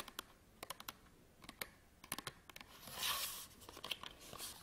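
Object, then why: Cardboard card package with plastic window. Fingernails tap rapidly on the printed back of a small, flat SanDisk memory card retail package with a cardboard backing and a plastic window. Seventeen short, dry, bright clicks come in quick clusters with almost no low end. Midway through, a brief scratchy, crinkly swell rises before the tapping resumes.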